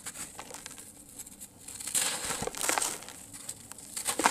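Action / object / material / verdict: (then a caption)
scrape / sand-cement lumps / sand-cement / none. Solid, dry, grainy sand-cement lumps are held in the hands over a tub of loose sand-cement and crushed and crumbled with the fingertips. Dusty grains fall as a bright, gritty crumbling and crackling that comes in uneven bursts. It peaks in short, sharp crunches near the middle and end.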